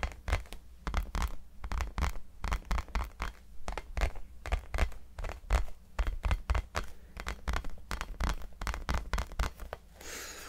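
Fingertips and nails tap and scratch the textured surface of a small, hollow, orange rubber mini basketball held in both hands. Dozens of quick, dull thumps with a deep, hollow low end and no ring are heard, mixed with light scratchy rasps. The clip ends in a softer, steady brushing hiss.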